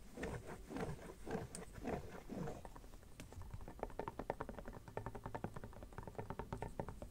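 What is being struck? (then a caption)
Empty silicone phone case. An empty red silicone phone case is held up while fingernails scratch and tap its back and inner surface. The first few seconds are soft, sweeping scratches, followed by a run of quick, muted, dull taps that continue to the end.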